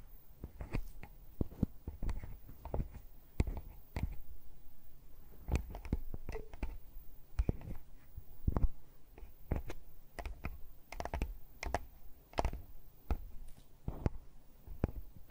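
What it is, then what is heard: Handheld audio recorder tapped with fingernails. Long fake plastic witch fingernails with red tips tap and scratch the metal-mesh microphone capsules and the metal and plastic body of a Tascam handheld recorder. The result is a steady run of short, dull taps and soft scrapes, heavy and boomy in the low end with quick decays and a faint hiss between them.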